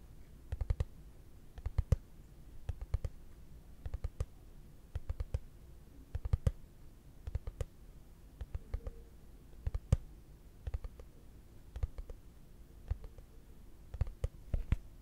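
A hollow, translucent frosted plastic case held flat is tapped with fingertips and short nails, producing soft, dry clicking taps in loose irregular clusters. Each tap has a dull, low hollow thump with a faint bright tick on top and dies away almost instantly, over a quiet steady background hum.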